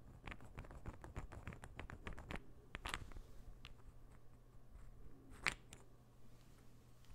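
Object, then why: Small wooden interlocking ball puzzle. A small, solid, assembled interlocking ball puzzle made of light wood is tapped with the fingers, then rubbed and turned between both hands. A quick run of short, dry, bright wooden taps gives way to quieter rubbing and shuffling, broken by a couple of sharper clicks. A steady low hum sits under the quiet, close sound.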